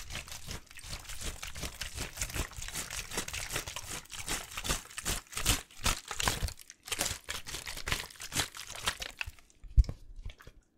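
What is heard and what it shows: An empty clear plastic water bottle is crushed and crinkled by hand close to the mic. A fast, dense run of bright crackling crunches with low thumps underneath goes on throughout, thinning out toward the end, where one sharper, louder crack stands out.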